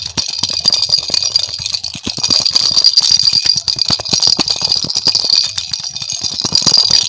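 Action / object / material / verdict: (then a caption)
shake / hollow plastic ball with a rattle inside / plastic / none. A hand-sized, hollow pink and yellow plastic ball with cut-out holes and a rattle inside is shaken close to the microphone. It makes a steady, dense stream of bright, crisp rattling clicks with almost no low end, and each click cuts off instantly.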